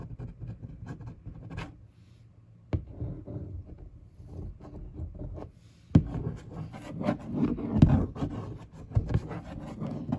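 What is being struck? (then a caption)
Large printed cardboard box. A fingertip traces slowly over the printed monitor picture on a large, hollow printed cardboard monitor box. It makes a soft, low, papery rubbing with uneven strokes, broken by a few sharper taps, the clearest near 2.7 and 6 seconds. The rubbing swells louder and denser in the second half.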